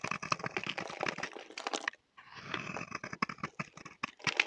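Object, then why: Bar of soap scraped with a knife blade. A utility knife blade scrapes across a solid, dry green bar of soap held in the hand, curling shavings off it. The result is a dense run of quick, crisp, bright scraping crackles, broken by a brief silent pause near the middle before the scraping resumes.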